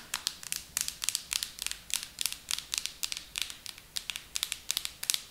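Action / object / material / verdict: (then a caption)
tap / plastic jar with plastic lid / plastic / none. Long acrylic nails tap and scratch the black plastic lid and sides of a pink plastic hair mask jar. The result is a rapid series of crisp, bright clicks and short scratchy bursts with almost no low end and no ring-out.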